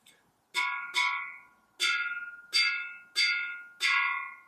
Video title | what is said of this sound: Hotmelt Basics: Learn to Hot Melt a golf club simply | if I tap it it has a certain pitch now